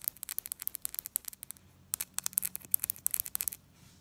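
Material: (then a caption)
Metal. Long acrylic nails rapidly tap and scratch the face and rim of a single small, solid bimetallic Egyptian one pound coin, with a silver-coloured ring and gold-coloured centre, held up between the fingers above other untouched coins on a glass table. About 25 quick, dry, bright clicks and scrapes come in two fast bursts separated by a short pause near the two-second mark. Each click stops almost instantly with no ring, and there is almost no low end.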